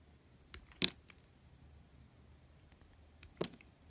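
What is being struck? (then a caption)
Bar of soap shaved with a metal knife. A metal carving knife shaves and scrapes thin curls from a hand-sized bar of soap with a red coated surface and white interior, held in fingertips. Four short, crisp, bright scraping cuts stand out, each dying away almost at once, separated by near-silence with a faint low background hum.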